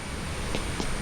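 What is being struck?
Nothing is struck.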